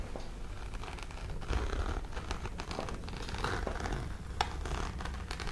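Long pink nails scratch the textured woven surface of a small, dark grey, hollow fabric-covered hard-shell case, held close. A steady, dry scratching rustle with a low, hollow body runs throughout, broken by brief sharper clicks of the nails on the shell.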